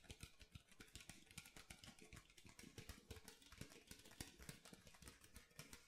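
Fingernails and fingertips tap the ridged bottom of an empty clear plastic water bottle with a blue label, held in both hands over a marble counter. The result is a rapid, continuous stream of short, crisp clicks with bright ticking edges over low, hollow thumps.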